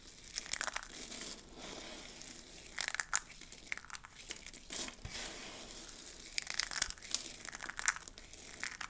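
Hands scoop up a pile of mixed dry soap flakes and crush them between the fingers. The result is a series of crisp, bright crunching and crinkling bursts, mostly high-pitched with very little low end, each dying away quickly.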